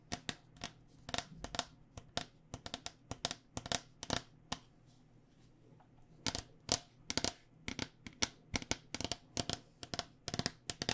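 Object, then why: Cycling helmet with hard plastic shell over foam. A white cycling helmet, a hard plastic shell over a hollow foam body, is held in the hand and tapped with long dark-painted nails. It makes quick, irregular bursts of sharp, bright clicks with almost no ring, a brief pause near the middle, and a faint steady low hum underneath.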